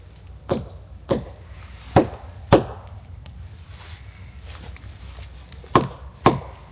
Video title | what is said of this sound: Stanley Park Vancouver Logging - Tree Assessments | it sounds solid to me. I don't think there's any decay in this tree.